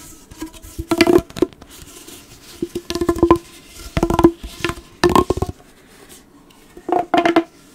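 Fingers scratch along the ridges of a hollow, blue corrugated plastic pop tube while it is bent and stretched. Five short bursts of rapid, zipping clicks come out with a hollow tonal ring near 336 Hz. Quiet gaps separate the bursts.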